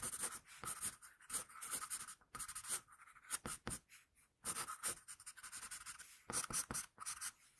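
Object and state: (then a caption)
Pencil drawing on paper. A wooden pencil, held near its tip, is drawn across a flat sheet of paper in continuous strokes. The result is a quiet, dry, bright scratching that comes in short bursts with brief pauses, mostly high hiss with little low end.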